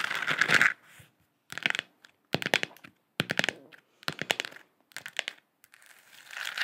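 Long acrylic nails tap and scratch a lit, hand-sized hollow plastic moon lamp sphere with a galaxy print, held in both hands. A bright scratching opens the clip, followed by short bursts of quick, dry, clicky taps with almost no ring, and a soft scratch returns at the end. The sound is thin and high, with very little low end.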